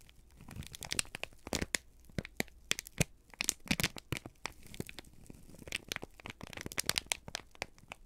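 A folded, crinkled sheet of brown kraft paper is held in both hands and squeezed and crumpled with the fingertips. The clip is filled with dense, irregular crackles and sharp crinkling snaps, bright and dry with no ring, coming in quick clusters over a quiet background.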